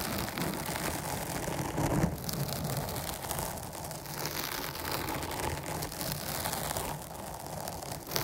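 Long nails scratch the top and sides of a dark foam microphone windscreen, producing a steady, dense crackling rustle with a heavy low rumble and bright hissy texture. The scratching continues at an even level throughout, swelling slightly around the two-second mark.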